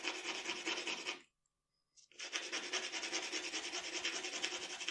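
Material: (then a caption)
Paper. The graphite tip of a wooden pencil scratches and rubs across a flat sheet of drawing paper lying on a dark table, making shading strokes while sketching a portrait. A bright, dry, rasping scrape carries a steady back-and-forth rhythm, stops for nearly a second of silence, then resumes at the same pace.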